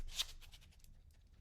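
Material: Nothing is struck.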